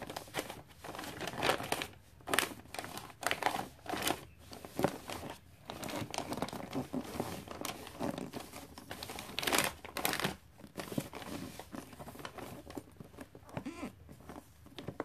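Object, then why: Glossy wrapping paper over a gift box. Long-nailed fingertips tap and rub the face of a gift box wrapped in glossy red Christmas paper. Sharp, bright crinkles and crackly taps come in uneven bursts over a soft rustle, with louder sweeps now and then.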